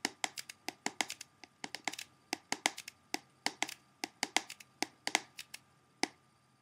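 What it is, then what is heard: Plastic CD jewel case. Fingertips and nails of both hands tap quickly across the front cover of a closed, hollow, clear plastic CD jewel case held up in the air. About 32 sharp, bright, dry clicks come in quick, uneven bursts, each stopping instantly with no ring. A faint steady tone sits underneath the quiet tapping.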